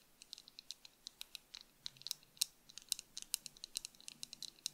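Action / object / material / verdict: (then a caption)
tap / plastic sunglasses frame and lenses / plastic / none. Long acrylic nails on both hands tap quickly and irregularly on the frame and lenses of tortoiseshell plastic sunglasses worn on the face. About 28 short, crisp, bright clicks sound with almost no ring or low end, over a quiet background.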